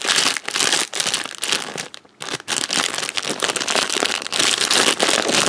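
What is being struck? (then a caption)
Plastic candy wrapper bag. A purple printed plastic packet for Wispa bars is crinkled and rubbed between the fingers. It makes dense, bright, crackly crinkling with a brief quiet pause about two seconds in before the rustling resumes.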